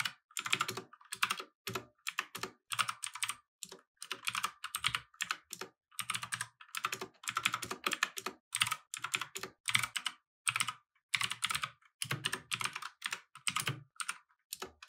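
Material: Plastic.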